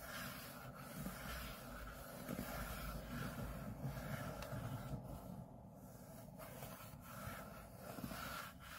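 Short fingernails scratch the back of an open MacBook's aluminium display lid, which carries the Apple logo. The result is a steady, low rubbing rasp with no distinct separate hits.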